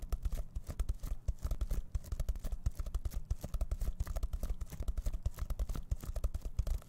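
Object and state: Sequin pouch being scratched.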